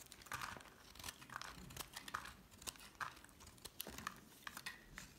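A solid green bar of soap, held in the hand, is carved into thin slices with a metal utility knife blade. Quiet, crisp scraping and scratching cuts come in a quick irregular series, each a short crackly slice with a bright, slightly ringing edge and very little low end.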